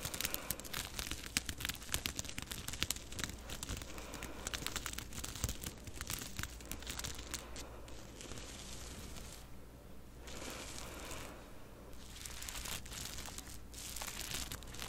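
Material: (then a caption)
Rhinestones, fabric. Long purple-painted fingernails scratch and rub the crystal rhinestones on a light blue fabric face mask, worn on the face, from the side and front. A dense run of bright, crinkly scratching and crackling clicks plays over a steady low hum. The clicks thin out into softer rubbing in the middle and pick up again toward the end.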